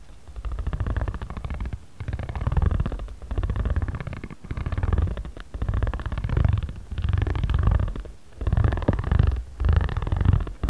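A ridged spiral jade roller is rolled back and forth across a flat origami paper pad held in one hand. The result is a low, purr-like rumbling buzz in repeated strokes of about a second each, separated by brief pauses.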